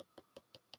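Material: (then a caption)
Rubber. Five quick, sharp taps on the hard sole of a lightweight sneaker, a sole slightly wider than the shoe that doesn't bend well and isn't soft. Each tap is a short, bright click with almost no ring, evenly spaced about a fifth of a second apart, showing how hard the sole is.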